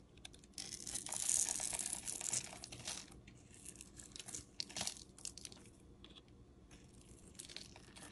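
A metal utility-knife blade scrapes powdery, crumbly shavings off the face of a solid oval bar of cream-coloured soap held in the hand. A long, dry, bright rasping scrape runs for about two and a half seconds, then breaks into shorter, uneven crackly strokes that fade to quieter scratching.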